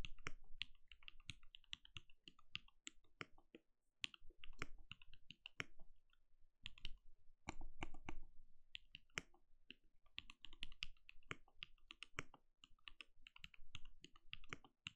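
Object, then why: Plastic mechanical keyboard. A compact backlit mechanical keyboard with plastic keycaps and a translucent glowing case is typed on rapidly with the fingertips of both hands. The result is dense, quick, bright clicking taps over a low, soft thud, broken by short pauses near 4 and 6.5 seconds.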